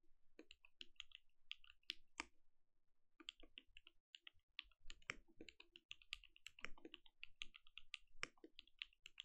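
Fingertip typing by both hands on a compact mechanical keyboard with plastic keycaps produces a quick, irregular stream of short, bright clicks and clacks. There is a brief pause near the 4-second mark before the typing resumes. Each keystroke stops almost instantly with no ring, and a soft low thud sits under the bright click.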